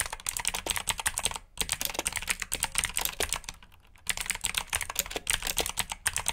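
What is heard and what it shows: Fingertips type in continuous bursts on a black backlit plastic mechanical keyboard with blue switches, giving rapid, bright, clicky keystrokes with very short decay. Brief pauses around 1.5 s and between about 3.6 and 4 s break up the steady clatter.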